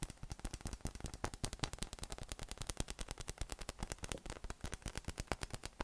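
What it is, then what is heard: PVC spiky massage ball tapped. A yellow, hollow, air-filled inflatable PVC massage ball with nubs, about 20 cm across, is held in one hand and tapped quickly with the fingertips of the other. It gives a rapid, steady stream of short, dull, bass-heavy thumps with a faint bright tick on each, and every tap dies away almost instantly.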